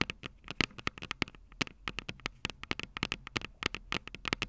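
Long purple nails tap on both small, hollow, silver metal microphone capsules of a Tascam DR-05 recorder resting on a table. The result is a rapid, uneven stream of sharp, bright clicks, each dying away almost instantly, with a low thud beneath some of them.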